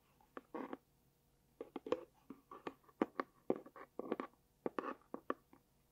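A small, hollow, light pink dotted cardboard gift box is held close and scratched and tapped with long dark-painted nails. Quick, dry taps are interspersed with brief scratching bursts. The sound is quiet, close and mostly midrange, and the taps stop almost instantly.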